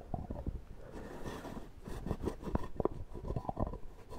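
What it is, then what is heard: Plastic shaving cream tub. Fingertips and nails tap quickly on the lid top of a small, round plastic shaving cream tub with a screw lid, which seems to be full. The taps are dull and low-heavy, with a faint hollow tone around 390 Hz. Each stops almost instantly, with soft rubbing and scratching filling the gaps between them.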